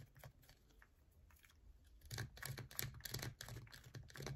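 A solid yellow bar of soap is scratched with long nails, starting partly out of frame. Quiet, sparse scratches in the first two seconds give way to louder, faster bursts of crisp scraping and tapping with a low hollow thud under each one.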